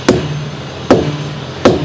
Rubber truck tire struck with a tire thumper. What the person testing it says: just get a feel for how the tire bounces how it sounds